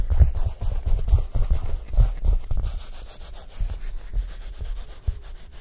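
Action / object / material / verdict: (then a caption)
scrape / collapsible nylon fabric reflector disc on a wire frame / nylon fabric / none. Fingertips rub and scratch quickly across the taut nylon fabric of a large round collapsible photography reflector on a wire frame. The result is a fast, uneven stream of deep, muffled rubbing thumps with faint bright scratchy streaks above them.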